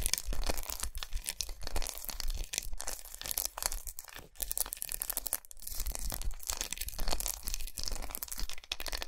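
Long nails tap and scratch across the raised squares of a large, unwrapped, segmented milk chocolate bar resting on a towel. The result is a dense, continuous stream of bright, crisp scratching and quick dry taps over a steady low rumble, with no ringing after each contact.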